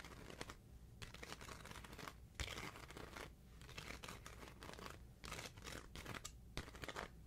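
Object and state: Paper sticker sheet being peeled and rubbed.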